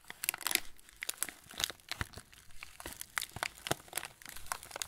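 A full TUC cracker packet in yellow plastic film is turned in the hands while fingertips rub and squeeze the wrapper. It makes a steady stream of sharp, bright crinkles and crackles in irregular bursts, each snapping off almost instantly, with little low end.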